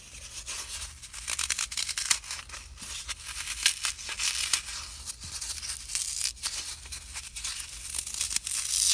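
A small, palm-sized block of solid green dry floral foam is held in both hands and crushed, pinched and crumbled with fingertips and blue-painted nails, leaving foam dust on the fingers. Dense, bright, dry crackling and crunching bursts run throughout, with sharp snaps rising over a steady, gritty crumbling texture.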